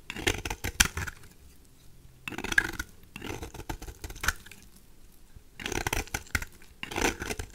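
A knife blade scrapes repeatedly across the surface of a peach-colored, solid rectangular bar of dry soap, shaving off curls. Bursts of crisp, dry scraping with sharp clicks and a bright, gritty texture come in short runs separated by brief quiet pauses.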